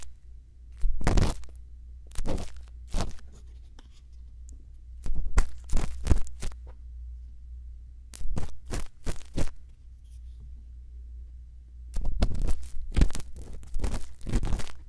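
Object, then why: Silicone ear of a binaural microphone scraped with a bamboo earpick. A thin bamboo earpick scratches inside the ear canal of a silicone ear on a binaural microphone. It makes close, dry, crackly scraping strokes that come in short clustered bursts with quiet gaps between them. A steady low hum runs underneath throughout.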